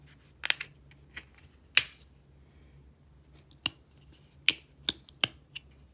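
Long painted nails flick the blue plastic flip cap of a small, dark, partly filled squeeze tube of body wash open and shut and tap on it. Sharp, bright plastic clicks and snaps come at an irregular pace and die away almost instantly, with a peak around 3 kHz over a faint low hum.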